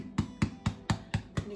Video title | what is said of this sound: Food – How to make soda bread - The Afternoon Club | So a tip to see if your bread is actually ready is to lift it and tap it. And you can hear that nice hollow sound. That means that they're cooked,